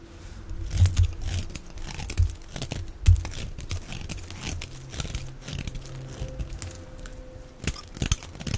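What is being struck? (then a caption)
Bar of soap. A knife blade scrapes shavings off the face of a palm-sized, solid oval bar of dry soap, white inside with a red outer layer, held in the hand. Dry, crinkly scraping and crunching rasps come in irregular strokes, with a few heavier, low thumps standing out.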